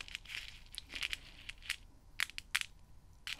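A small open metal tin full of white mints is held in one hand while long red-painted nails stir and pick at the mints. Quick, bright, crunchy rattles and clicks come in irregular bursts, with louder clacks standing out near the middle and end of the clip.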